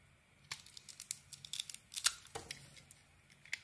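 A solid green soap bar with a white core is held in the hand and shaved with a metal blade, peeling off curls. A quick series of crisp, bright scraping and crackling strokes is heard, with almost no low end and little ring after each cut.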